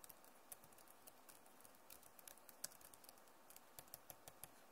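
Both hands type fast on a backlit Acer laptop keyboard with plastic keys, producing about twenty short, quiet clicks over a faint steady hiss. Each tap is a brief, bright tick that dies away almost instantly, with a few taps landing sharper and louder than the rest.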